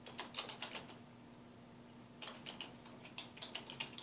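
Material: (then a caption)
Plastic. A black plastic computer keyboard on a wooden desk is typed on with the fingertips of both hands, giving quick, bright, clicky key taps. One burst of taps is followed by a quiet pause of about a second and then a second burst. A faint steady low hum runs underneath throughout.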